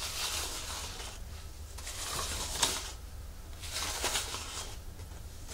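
A large, flat artificial monstera leaf made of thin plastic or fabric is held over a wooden table while long nails and fingertips scratch and rub its surface and crinkle its edges. Soft, bright crinkling and scratching swell and fade in waves, with a few sharper clicks standing out, over a steady low hum.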